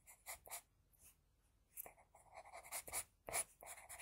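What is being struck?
Sheet of drawing paper under a graphite pencil.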